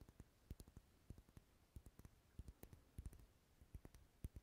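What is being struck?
Wax pillar candle.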